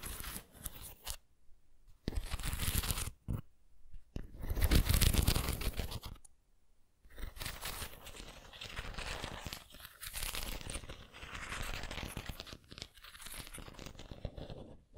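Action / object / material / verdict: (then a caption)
scrape / ceramic pineapple figurine / ceramic / none. Long nails scratch the textured body of a white ceramic pineapple figurine, making dry, tearing scrapes in irregular bursts. The scraping stops for short silent gaps, then resumes as bright, rasping strokes.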